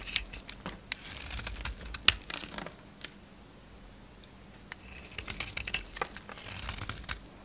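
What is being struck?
Soap bar.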